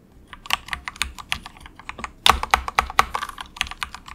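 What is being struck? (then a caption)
Plastic mechanical keyboard. Fingertips of both hands type softly on a cheap, compact 68-key plastic mechanical keyboard with a hollow case, resting on a desk mat. The result is a quick, irregular stream of short, bright, clacky keystrokes with a hollow plastic tone, each dying away almost instantly. A louder burst of keystrokes comes just past the midpoint.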